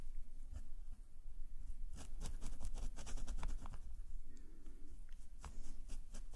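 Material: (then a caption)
Paper. A metal calligraphy nib scratches short strokes of green ink across a black paper sketchbook page held flat by the other hand. Quick, dry scratchy strokes with bright edges sit over a low, steady rumble.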